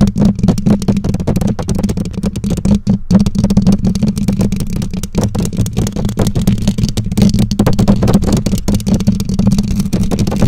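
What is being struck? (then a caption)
Metal mesh microphone grille. Long nails scratch and tap the bare black metal mesh grille of a condenser microphone. A dense, continuous stream of quick taps and scratches sounds close and boomy, with most energy in the low range and a steady hum near 200 Hz, and very little bright content.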